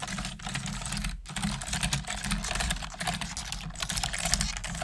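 A full-size black plastic computer keyboard with hollow plastic keys is typed on fast and continuously with both hands and long nails. Dense, bright, hollow clicks and clacks run throughout over a steady low hum, with a brief gap just after the first second.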